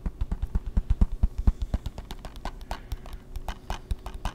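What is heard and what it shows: A closed, hollow, hard plastic PS3 game case is held in the hands and tapped with fingertips and nails in a quick, uneven run of taps. The early taps are deep, dry, hollow thumps; later ones turn lighter and more clicky, each stopping at once with no ring.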